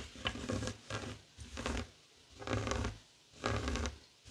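Fingertips and short nails scratch a flat, heart-shaped woven tapestry fabric coaster lying on a wooden table. The result is a series of dry, rasping scratch bursts, each about half a second long, separated by brief quiet gaps. Each burst has a soft low rumble beneath a bright, papery texture.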